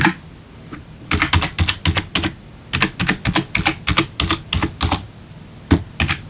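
A single hand taps individual keys with a fingertip on a black plastic RGB backlit computer keyboard. Quick, dry clicks with a low thud and bright plastic snap come in irregular bursts and clusters, separated by short pauses.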